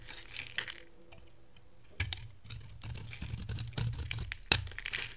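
A metal box-cutter blade scrapes and shaves flakes off the face of a solid, hand-size rectangular bar of dry soap with an orange core and green outer layer, held in one hand, as the shavings pile up on a white table. Dry, bright scraping and crackly shaving strokes come in quick bursts with short sharp peaks and a faint low hum beneath, with quiet pauses between the cuts.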